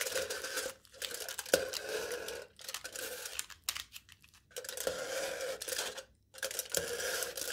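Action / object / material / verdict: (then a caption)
scrape / aluminium foil stretched over a hollow cup / aluminium foil / none. A knife tip repeatedly scratches and pokes aluminium foil stretched taut over the top of a hollow cup. Bursts of bright, crinkly scraping with a faint tone in the low midrange alternate with short silent pauses, and a few sharper pokes stand out.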